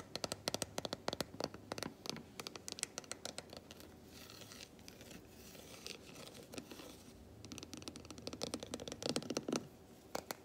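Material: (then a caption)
Chocolate. A large unwrapped solid milk chocolate bar, held in one hand, is scratched and tapped with long white nails along its squares. Dense runs of quick, bright clicks and taps bunch up at the start and end, with a softer, steady scratching in the middle.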